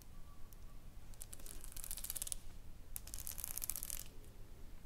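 Long nails scratch and tap across a flat pink sheet covered in small plastic rhinestones lying on a wooden table. Two bursts of bright, crackly clicking and scraping rise over a quiet low rumble, one around the middle of the clip and another just after, with faint taps between them.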